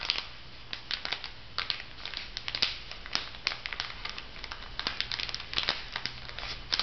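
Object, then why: Makeup sponge packet in thin plastic film on a paper card. Fingers rub and crinkle the plastic film on a makeup sponge pack lying flat on its paper card. A steady stream of sharp, bright crackles and crinkles rises and falls over a faint low hum, each crackle snapping off almost at once.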